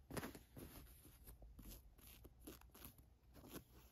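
Long nails trace and scratch the embroidered "MONEY" lettering on a black printed cotton t-shirt. The result is quiet, dry scratching and rustling in uneven bursts, with bright, hissy edges over a low, soft rumble of fabric.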